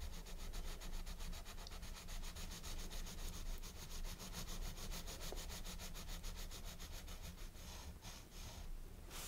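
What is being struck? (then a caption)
Colored pencil rubbing on a paper coloring book page. A blue colored pencil, held in the right hand, shades across the page of a large open paper coloring book in short strokes; the book lies flat on a wooden table and is held open by the left hand. The sound is a quiet, steady scratchy rubbing made of rapid, closely spaced strokes over a low background rumble, with a few brighter swipes near the end.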